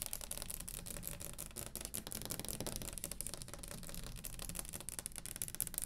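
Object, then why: Wooden table top tapped and scratched with fingernails. Long green acrylic nails, fingertips grouped together, tap fast and scratch across the top of a round solid wooden table. The result is a continuous run of quick, dry clicks with bright scratchy hiss over a soft low-end body, each tap dying away almost instantly.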